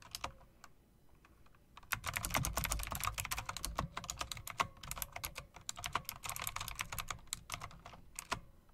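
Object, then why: Mechanical keyboard with round plastic and metal-rimmed keycaps. A mechanical typewriter-style keyboard with round plastic, chrome-rimmed keycaps and RGB lighting is typed on by fingers with long dark nails. A few scattered clicks open the clip, then a dense run of sharp, bright key clacks begins about two seconds in. The clacks are short and dry, with a low thump under them.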